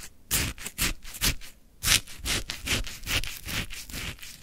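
A wooden stick pushes down into a full plastic cup of lemon frozen shaved ice, scraping the icy crystals. Short, crunchy, bright scrapes repeat in an uneven rhythm, with a crisp high rustle and a soft low thud under each stroke.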